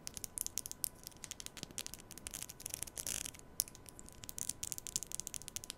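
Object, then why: Plastic comb. A black plastic comb is held vertically at the mic while long nails scratch and strum its teeth. The result is a dense run of quick, dry, bright ticks and scrapes with almost no ring. A steady faint hum sits underneath.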